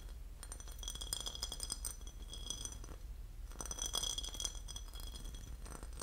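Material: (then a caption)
Porcelain. A porcelain lid is tapped and scratched, producing a dense run of bright ceramic clinks that ring near 3.3 kHz. Two louder bursts of activity stand out, one around the first two seconds and another near the fourth, over a steady low-frequency hum.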